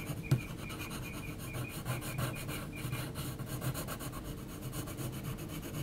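An HB graphite pencil is rubbed and scratched across a large flat sheet of heavy textured mixed-media paper while shading around the eye of a drawing. A sharp tap near the start gives way to a steady, low, raspy rubbing made of quick repeated strokes, with faint brighter scratchy grain on top.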